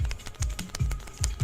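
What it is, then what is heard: Hollow chocolate skull with loose pieces rattling inside. A hollow Belgian chocolate skull, still unopened, is shaken right in front of a microphone, rattling the loose pieces inside. Quick, dry clicking taps sound over soft low thumps that swell about every 0.4 seconds with each shake.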